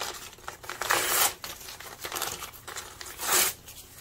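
Fingertips crumple, rustle and tear thin printed paper map or atlas pages by hand, loose sheets resting over a pile of torn scraps. Bright, crackly crinkling runs throughout, with two louder sustained rips near one second and three and a half seconds.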